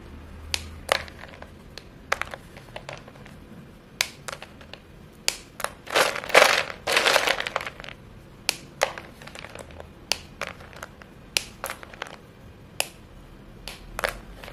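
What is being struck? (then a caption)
White chalk sticks. Dusty fingers grab short, solid white chalk pieces from a heap and snap and crush them between the fingertips. Sharp, bright, dry snaps come at an irregular pace, with a longer, denser burst of gritty crunching and crumbling in the middle. Each crack dies away almost at once against a quiet background.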